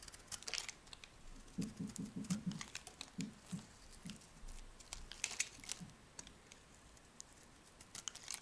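A metal blade carves a solid tan rectangular soap bar into crumbly, dry flakes. Bright, crisp scraping and crackling ticks come in quick bursts, with soft low thuds underneath as the flakes break away.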